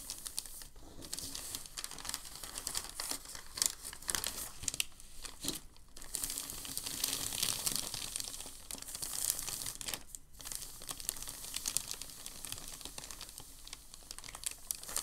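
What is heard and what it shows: Hands press and rub a crinkled sheet of thin packing paper flat on a table. The result is a steady, bright crinkling made of dense crackles, with short lulls near 1, 6 and 10 seconds.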